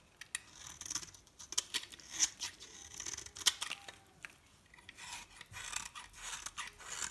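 A metal knife blade scrapes and scores a solid rectangular bar of dry green soap held in hand, leaving shavings on the table. Quiet, bright, crisp scratching strokes and short dry ticks come in irregular bursts, with almost no low end and no ringing after each stroke.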